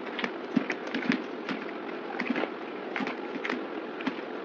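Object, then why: Bar of soap scraped with a blade. A yellow box cutter blade scrapes thin shavings off a solid oval white bar soap held in the hand. The result is a quick series of short, dry scraping strokes with crisp, bright edges over a steady low hiss, each stroke ending almost at once.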